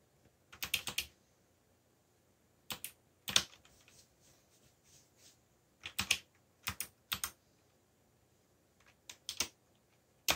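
Fingertips type on a backlit mechanical computer keyboard with black plastic keycaps, tapping out short bursts of keystrokes separated by pauses. Each bright, crisp click dies away almost at once and carries very little low-end weight, over a quiet background.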